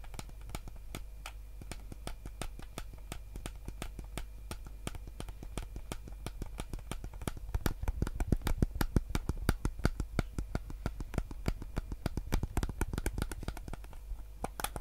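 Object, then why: Plastic game controller. Fingers tap and rub the triggers and hollow hard plastic shell of a white PS5 DualSense controller held in both hands. The result is a fast, irregular stream of short, dry plastic clicks and taps over a steady low hum. The taps grow louder and denser in the middle of the clip before easing off.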